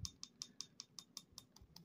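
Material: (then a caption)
Ceramic resin. A finished, cured piece cast from ceramic resin in a dainty silicone mold, smooth to the touch, is tapped ten times in a steady rhythm. Each tap is a short, bright, high-pitched click that dies away almost instantly, with no ring.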